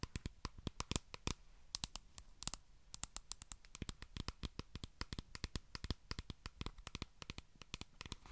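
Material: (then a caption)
Plastic. Long nails tap and scratch a small white plastic squeeze tube of skincare cream held close to the mic. Dozens of quick, sharp clicks with bright, crisp tops and no ring ride over a soft, low background hush, with a few brief scratchy bursts between the taps.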